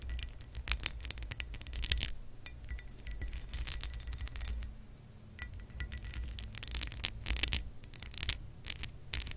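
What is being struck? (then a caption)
Pressed glass lamp base. Curled fingers tap the ridged surface of a pressed, textured glass lamp base with acrylic nail tips. Quick bursts of bright, high clinks and ticks die away almost instantly over a steady low rumble, easing off briefly midway before clustering again.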